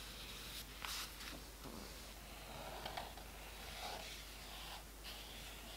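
Fingertips trace and rub along the printed butterfly and flower line art on the matte paper pages of an open hardcover coloring book lying flat on a fabric surface, with a loose white sheet resting still under the right page. The result is a quiet, steady papery brushing and scraping hiss, mostly bright and airy, with a few slightly louder rustling swells along the way.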